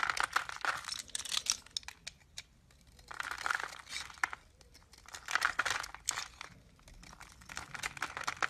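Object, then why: Bar of soap. A utility knife blade shaves and scrapes flakes off a solid, hand-sized lilac Duru bar soap held in the palm. Bursts of crisp, bright scraping and crackling come in clusters, separated by brief quiet pauses. Each stroke ends abruptly with almost no ring.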